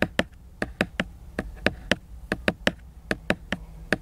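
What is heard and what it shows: Fingernails work over the glossy laminated cover of a large picture book, producing about sixteen short, dry, clicking taps in an uneven rhythm. Each tap is bright and dies out almost instantly, with faint scratchy rustling in between.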